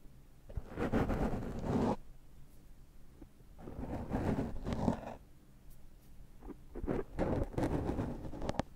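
Fingertips rub and scratch the surface of a dark foam microphone windscreen, apparently to remove cat hair from it. The result is a muffled, low, scratchy rustling in three long bursts separated by quiet pauses, heavy in the low end with almost no brightness.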